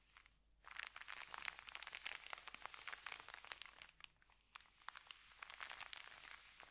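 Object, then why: Paper bag. Fingertips rub and smooth the wrinkled paper of an empty white paper sandwich bag lying flat on a carpet. The result is a quiet, dense stream of crisp, bright crinkles and rustles with almost no low end. Brief lulls come near the start and around the four-second mark.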